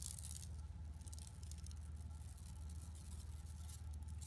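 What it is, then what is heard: Woven plastic mesh bag being scratched. Long nails scratch across an empty, flat yellow woven plastic mesh tote bag lying on carpet. The result is a continuous, fast, scratchy rasping with bright bursts of crackle, over a steady low hum.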